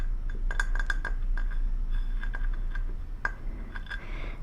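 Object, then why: Small decorative glass shoe. A small, Christmas-looking decorative glass shoe from a collection, with a holly-berry embellishment on the toe, is tapped repeatedly. Each tap gives a bright, short glass clink pitched around 1.6 kHz over a low background hum, in an uneven rhythm.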